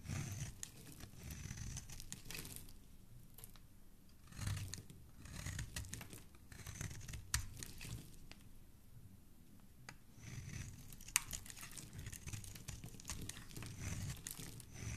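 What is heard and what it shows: A black blade shaves and scrapes a hand-sized solid pink bar of soap held in the fingers, throwing off powdery white flakes. Soft, dry rasping and crisp tearing-like shaving strokes come in uneven bursts over a low, muffled rumble, with occasional sharp bright ticks.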